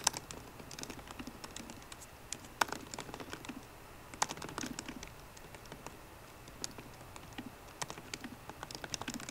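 Both hands type steadily on a MacBook Pro keyboard, using fingertips and long nails on its plastic keycaps over the hollow aluminium laptop body. A quiet, continuous run of quick, dry, bright clicks and taps comes with soft irregular bursts and brief pauses. Each keystroke dies away almost instantly with no ring.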